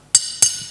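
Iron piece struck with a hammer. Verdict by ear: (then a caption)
Unharmed. A hammer strikes a piece of iron twice. The hits are sharp, high metallic clinks that ring briefly. The iron is left unharmed.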